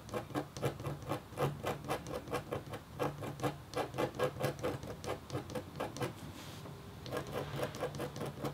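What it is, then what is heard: Copper scratch art board being scratched. The metal tip of a red stylus scratches across a flat, thin, solid black-coated copper-foil scratch art board in about thirty quick, short strokes. Each stroke is a brief, dry rasp with a slight tone near 500 Hz. The strokes fall in an uneven rhythm, with a short pause before they resume near the end.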